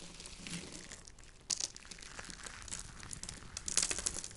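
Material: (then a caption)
Soap. A heap of dried white soap shavings, peeled from a bar with a peeler, is crushed and rubbed between both hands as the fingertips grind the flakes into powder. The result is a dry, bright, crinkly crunching that rustles steadily, with sharper crackling bursts around 1.5 and 3.8 seconds.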